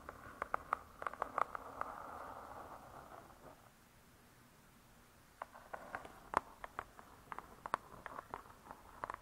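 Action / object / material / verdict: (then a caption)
tap / spiral-bound laminated hardcover book / laminated board / none. Long stiletto nails tap and scratch the closed laminated board cover of a spiral-bound hardcover cookbook. Quick, dry clicks centered near 1 kHz mix with a soft scratching hiss over the first few seconds, then a near-silent pause. A second run of sharp, scattered taps follows.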